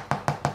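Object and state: Hollow-sounding, fully baked bread loaf.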